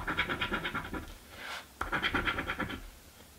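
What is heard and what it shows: A coin edge scratches a thin, flat cardboard crossword scratch-off lottery ticket resting on a wooden table. Two bursts of quick, rhythmic, dry scraping are heard, separated by a brief rising swipe and a sharp scrape. The strokes have a bright, papery texture with little low end.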